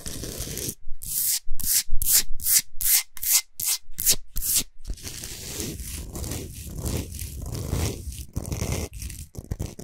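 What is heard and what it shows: Long nails scratch back and forth across the top of a large, solid, flat Himalayan salt block. Quick, bright, raspy strokes are separated by brief silences, then give way to a steadier, softer rubbing with a low rumble underneath.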